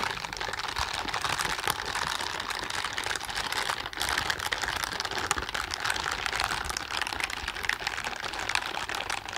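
A pair of blue silicone dishwashing gloves with bristle palms, worn on both hands, has the palms rubbed and pressed together. The result is a continuous, dense, crackly scrubbing texture with many tiny overlapping clicks, centered in the mids and highs with almost no low end.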